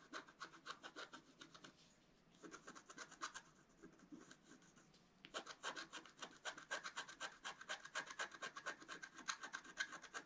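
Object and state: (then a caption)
Coated scratch-art sheet being scratched. A flat black-coated scratch-art paper card lying on a table has its coating scratched away with the tip of a wooden stylus in repeated short strokes. The result is rapid, bright, dry rasping scrapes at about four per second, centered near 1.6 kHz. The strokes thin out to soft scratches in the middle before resuming more densely to the end.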